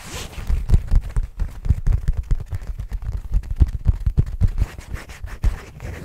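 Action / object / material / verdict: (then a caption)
scrape / faux leather zippered pouch / faux leather / none. Fingertips quickly scratch and rub the surface of a soft, hollow, black leather-like zippered pouch held in both hands close to the mic. The result is a dense, fast stream of short, dull scratching thumps, heavy in the low end with almost no brightness. Each stroke dies away almost instantly.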